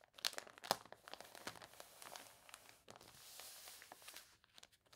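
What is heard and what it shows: Long nails scratch the pages of a water-wrinkled, glossy paper toy catalog lying open, while hands turn and flatten its crinkly pages. Quiet, bright crinkling and crunching with quick, irregular scratches and rustles, and two sharper crackles near the start. A softer stretch of smooth rustling follows midway before more scattered taps and crinkles.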